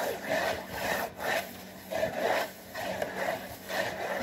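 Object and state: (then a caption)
Cardboard box, scratched. Fingernails scratch the front panel and top edge of a hollow, printed cardboard saltine cracker box. The result is a dry, papery rasp in slow, uneven back-and-forth strokes, with a hollow midrange tone and a bright scratchy hiss on top.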